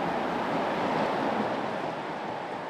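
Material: Nothing is struck.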